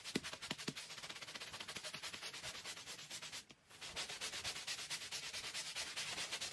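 A hand-held scrub brush is worked back and forth across the pile of a small, dirty, oval fringed woven rug that lies flat on a concrete floor, soaked and covered in soap foam, while the other hand steadies it. The result is a steady run of quick, bright, wet rasping strokes with a hissy, foamy texture. The scrubbing stops briefly around the middle before resuming.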